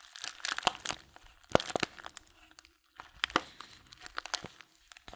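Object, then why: Small filled paper tea bag. Fingertips crumple and crinkle a small, filled Blutorange paper tea bag held close. Soft, dry crackling bursts come in uneven clusters, with a brief quiet pause in the middle. The sound is bright and papery, with almost no low end and no ring after each crinkle.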